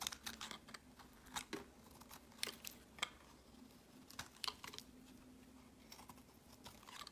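A solid light-green bar of soap, held in the hand, is shaved with a utility-knife blade, and the shavings pile up on a mat. Quiet, crisp scraping and crunching strokes come in quick irregular bursts, bright and dry with almost no ring. A faint steady low hum runs underneath.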